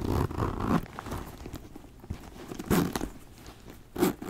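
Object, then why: Leather backpack. A hollow brown leather backpack is handled with repeated zipper pulls and fingernail scratches across the leather while small metal rings shift and clink. Soft, rasping bursts come at the start, near the middle and near the end, with quieter scraping between them.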